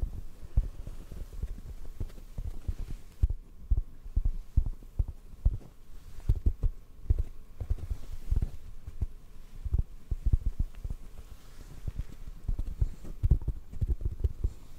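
A hollow black foam mic windscreen, held in the hands, is tapped softly with the fingertips. The result is a steady run of quick, dull, low thumps with almost no ring and nothing bright above them.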